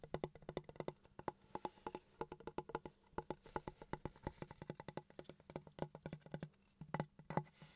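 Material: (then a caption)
Wood. Fingertips and nails tap and scratch along the surface of a large, flat, solid wooden plank with visible grain and a knot, held horizontally and tilted. A quick, irregular series of short, dry, hollow knocks with a low woody thump is heard, each dying away almost at once, with faint scratchy rustles between the taps.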